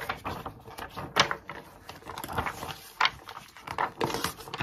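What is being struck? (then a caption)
Glossy paper magazine page. An open glossy paper magazine lies flat on a desk as a page is turned, then a wooden stick, held by a hand with long nails, scratches and traces over a printed text page. Dry, papery scratching and soft brushing strokes run throughout, punctuated by brief, sharper bright rasps.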